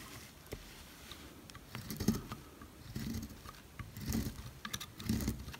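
A knife blade cuts repeated thin slices from a solid yellow oval Dalan dry soap bar held by hand. Each cut makes a soft, crisp scraping pass with bright, brittle crackles over a dull low body, at an uneven pace. The slices pile up as curled shavings.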